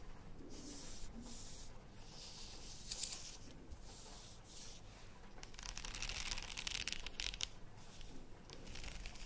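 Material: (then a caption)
Plastic. A plastic faux pearl padded headband is turned in the hands while long nails scratch across its beaded surface and inner side. The result is a steady, soft, bright scratching and rubbing with light clicks, and a few louder, brighter bursts.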